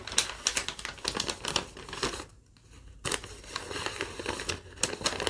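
Long nails scratch and crinkle a thin yellow lined legal-pad paper sheet, making a quick series of sharp, bright crackles and scratches. A short quieter stretch falls near the middle before the crinkling picks up again, with most of the sound sitting high and little low end.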